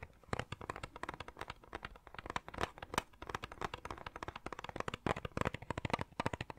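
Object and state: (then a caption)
Plastic cassette tape case. A small, hollow, clear plastic cassette tape case with a colourful insert is held at an angle and tapped and scratched with fingertips and nails. A rapid, uneven stream of short, dry clicks and scratchy taps follows, each dying away almost instantly, with mid-range body and some bright edges.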